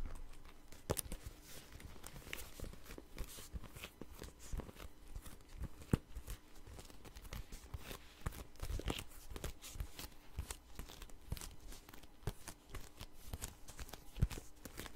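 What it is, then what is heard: Patent leather wallet. Fingertips and nails tap and scratch the surface of a long, red, glossy patent faux leather wallet that is held closed and hollow in the hands. The result is a quiet, steady stream of short, dry taps mixed with crinkly scratching. The sound is mostly low and muffled, with a few sharper clicks standing out.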